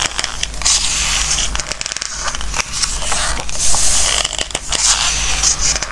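Fingertips rub across and turn the glossy pages of an open craft book held in hands on a wooden table. Continuous bright crackling and scraping swishes with sharp papery snaps sit over a steady low hum.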